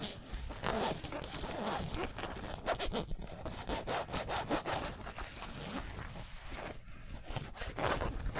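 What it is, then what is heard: Polyester mesh jersey being scratched. Fingernails and fingertips scratch the twill lettering on a yellow San Francisco basketball jersey made of polyester mesh. The result is a steady run of dry, scratchy rasps in quick, overlapping strokes that swell and fade, with bright fabric hiss on top and a soft low rumble underneath.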